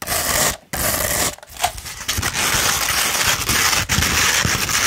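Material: Sandpaper.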